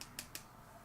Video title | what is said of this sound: Makeup Haul with $15 & 2000 points- Ulta Influenster & Morphe - PalsLivesLife- | it sounds like plastic so I don't know why it's so heavy